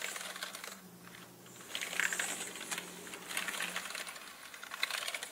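Fingertips slowly type on a full-size black mechanical gaming keyboard with plastic keycaps and a hollow body. Bright, hollow plastic clicks and clacks come in loose clusters, with a faint steady low hum underneath.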